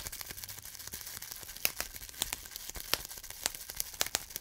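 Fingertips and thumbs pinch the air-filled bubbles on a large sheet of clear plastic bubble wrap, popping them. Sharp, bright pops burst out irregularly over a steady, crinkly hiss of handled plastic.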